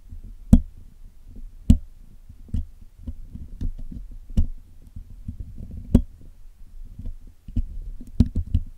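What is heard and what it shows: A steel dental pick hooks into and scratches at the hollow black woven metal mesh grille of a Blue Yeti USB microphone, which is held in one hand and has a pink-stained patch, while the grille is being cleaned. Twelve sharp, short ticks and knocks stand out, some with a bright click, over a steady low, rustling scrape. Each hit dies away almost at once.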